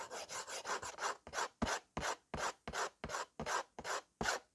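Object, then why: Slate writing board and slate pencil. A white slate pencil held in the fingers is rubbed and scratched back and forth across a small yellow-framed slate writing board. The result is a steady run of dry, raspy scraping strokes, about three per second, with gritty mid tones and a bright hiss. The strokes blur together at first, then separate into distinct passes with short gaps between them.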